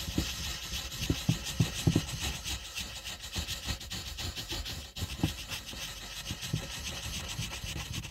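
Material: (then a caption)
Paper. A purple wooden colored pencil tip scratches and rubs over a flat, thin white paper coloring page on a table as the letter R is colored in. The result is a steady, dry rasping texture with bright hiss, broken by soft, low taps as the strokes change direction.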